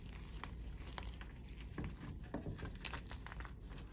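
Bare hands squeeze and crumble broken white chalk chunks in a heap of chalk powder on a tray, with some fingernail contact. Soft, dry crunching and crumbling clicks come in irregular bursts over a steady low hum. Brief brighter snaps stand out as the chunks break apart.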